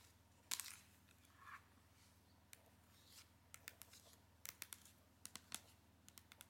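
Long nails tap and scratch a flat cardboard eyeshadow palette sleeve with a marbled agate print, the palette held inside. Quiet, sharp, bright clicks and taps land one after another, mixed with a few short scratchy swishes over a faint low hum, and each tap dies away almost instantly.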